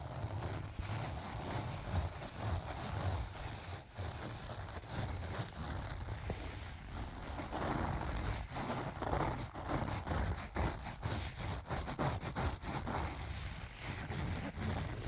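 Fingertips and nails of both hands scratch across the surface of a closed pink leaf-print cloth zipper pouch filled with pens. The result is a steady, dull scratching and rustling with a heavy low rumble and little brightness, rising and falling in short bursts throughout.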